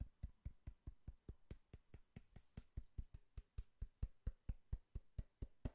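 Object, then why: Cardboard box. Fingertips knock and tap on a hollow brown cardboard box, producing 26 quick, dull thuds in a steady rhythm. Each knock is short and deep with almost no ring, plus a faint papery tick on top.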